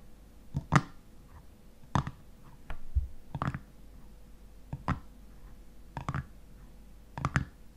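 Fingernails tap and scratch the top of a black metal screw lid on a hexagonal glass honey jar standing on a table. Short, dry clicks and brief scratches come in small clusters, separated by quiet pauses, with a faint steady hum underneath.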